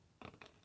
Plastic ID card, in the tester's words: hindi malutong yung tunog niya